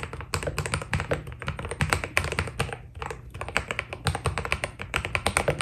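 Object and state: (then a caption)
Mechanical keyboard with PBT plastic keycaps. Fingertips of both hands type quickly on a white Keydous NJ80 mechanical keyboard with PBT keycaps. A steady stream of short, crisp keystrokes with a deep, low thock and bright clicky tops briefly eases around the three-second mark before picking back up. Each press dies away almost instantly.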